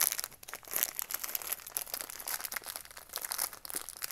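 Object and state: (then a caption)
Cardboard and plastic blister package. A small hollow retail craft kit package, a cardboard backing card with a clear plastic blister holding green and red pieces, is held in both hands while fingertips and nails squeeze and rub the plastic and card. This produces a steady stream of bright, dry crinkling and crackling with many quick, close-spaced snaps and almost no low end.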